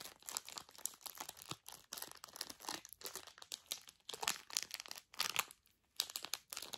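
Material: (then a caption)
Plastic foil. A Zbar snack bar with a solid bar inside is crinkled and squeezed in its thin plastic foil wrapper by fingers with long nails. Dense, bright, crackly crinkles come in quick bursts separated by brief pauses, with almost no low end.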